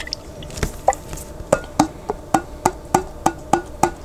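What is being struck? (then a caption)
Glass jar with plastic lid, partly filled with water. Fingertips tap the white plastic lid of a large clear glass pickle jar that is partly filled with water and held sideways. The result is a quick series of short, dry, hollow knocks with a woody, block-like pitch and almost no ring, coming at a fairly even pace after a few looser taps at the start.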